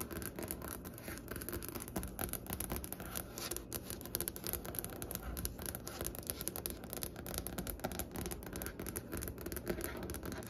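Long fingernail tips from both hands tap and scratch across a large, solid, striped-grain wooden butcher-block desk top. The result is a dense, steady stream of quick, dull clicks with a soft scraping texture underneath. Each tap is short and dry, with no ring.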